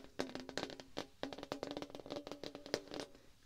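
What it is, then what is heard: Thin metal sheet, tapped. Fingertips and nails tap quickly and irregularly on a flat, thin, rectangular brushed-silver metal sheet, roughly letter size, held upright. Each tap is a short, bright click with a faint metallic ring near 430 Hz and a lower hum, and the ring dies away almost at once.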